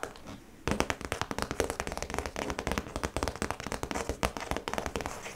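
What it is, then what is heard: Clear plastic pouch, tapped and scratched. Long pointed nails tap and scratch across the clear PVC face of a small, round, hollow cosmetic zip pouch with yellow trim, lying flat with a flat printed yellow card inside. After a brief quiet moment, a rapid, continuous run of short, crisp plastic clicks and light scratches follows, each dying away almost instantly.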